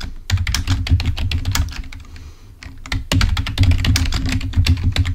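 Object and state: Plastic computer keyboard.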